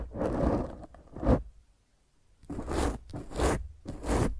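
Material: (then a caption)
Foam. Long fingernails on both hands scratch the top of a black foam microphone windscreen in five rough, rasping bursts with a short pause in the middle. The close-up scratching is dense and low-heavy, with a deep rumbling body and little high brightness.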